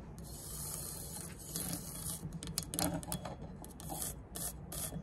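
Long nails scrape across the engraved ridges of a triangular aluminum speed square (rafter square) and tap its plate, first with the square held upright and then lying flat. The result is bright, rasping scratches in quick bursts with brief metallic taps over a steady low hum.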